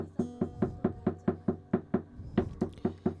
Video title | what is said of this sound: ここがわがいえep34 テーマ「正しい脱却入門」 | このギターののこのコンコンていう音が426Hzでぴったしあったんですよ